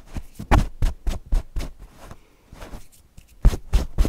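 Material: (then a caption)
Cotton fabric. Fingernails scratch across the fabric face of a stuffed cotton owl cushion in short, irregular strokes. Each stroke is a soft, muffled rasp with most of its weight in a low thump and no high brightness. A quieter stretch in the middle is followed by a few firmer strokes at the end.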